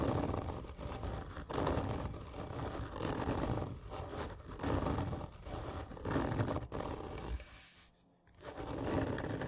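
A large, hollow black printed cardboard whisky gift tube lies horizontally while long fingernails of both hands scratch it hard and slowly. The result is a continuous rough, low scraping rumble with rhythmic swells that fades briefly to near silence before resuming.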